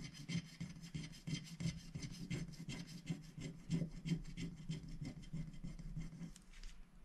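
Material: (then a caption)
Coated paper. A thin black-coated scratch-art sticker sheet, held down by a hand, is scratched and rubbed in small strokes with a wooden stylus tip that removes the coating. The result is a quick, uneven series of soft, dry rasping scrapes with a low hum-like body around 170 Hz and faint bright edges. The strokes repeat steadily for the whole clip.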